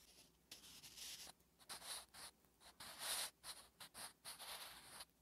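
A wooden graphite pencil writes Korean letters on a flat, solid lined paper notebook page, making bright, dry scratching strokes. The short strokes come in bursts separated by brief pauses and fade quickly with no ring.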